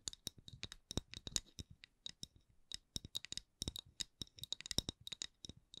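A round, solid, thin wooden candle lid is tapped and scratched with long nails. About thirty short, dry, bright clicks come in an irregular rhythm, each stopping at once with no ring.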